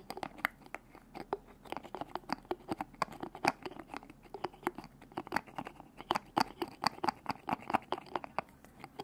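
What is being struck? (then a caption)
Glass bottle with plastic screw cap. Fingers grip, twist and tap the white plastic screw cap on a small glass bottle of orange liquid, with the bottle held over the mic. There is a quick, dense stream of dry clicks and crinkly ticks, centered in the mid range with brief bright edges, and each one dies out almost instantly.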